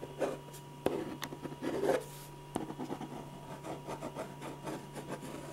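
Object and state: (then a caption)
Pen scratching on paper. A silver ballpoint pen scratches dense back-and-forth shading strokes across a large white paper sheet on a drawing board, filling in hair and a face. Quick, rhythmic rubbing and scratching bursts are heard, with a few sharper taps standing out among the strokes.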